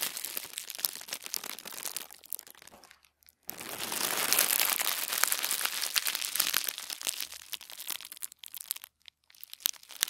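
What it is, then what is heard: Thin tissue paper. Bare fingertips and palms rub and press a sheet of folded white tissue wrapping paper, the thin shoe-box kind, lying flat on a wooden table. The result is a steady run of soft, bright crinkling and rustling with quick crackles. It breaks off briefly near three and nine seconds, and there is a fuller, louder stretch just after the first pause.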